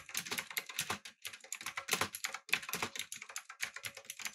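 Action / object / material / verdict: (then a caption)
tap / mechanical keyboard with plastic keycaps / plastic / none. Fingertips type on a backlit, typewriter-style mechanical keyboard with round plastic keycaps, giving a fast run of sharp, bright clicks with almost no low end. The keystrokes come in quick bursts, with brief silent gaps around the one- and two-and-a-half-second marks, and each click dies away almost instantly.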